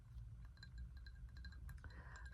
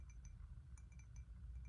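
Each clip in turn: First: glazed ceramic bowl. Second: ceramic cup.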